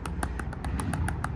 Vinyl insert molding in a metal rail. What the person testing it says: if you can tap it and you can hear that it's loose